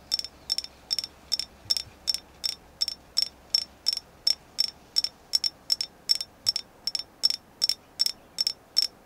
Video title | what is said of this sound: ASMR Tapping Goddess Agate #asmrtapping #Goddess #Agate #Tapping #crystalsnchi | I love this moon goddess. It's an agate, and I love the way it sounds.